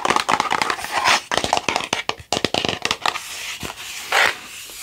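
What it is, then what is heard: Hollow plastic skull. A hand-sized hollow plastic Halloween skull, held in both hands, is tapped and scratched with long nails and fingertips. A quick run of sharp, dry clicks and taps with almost no low end and barely any ring gives way to softer, hissy nail scratching. A louder, brighter scrape swells near the end.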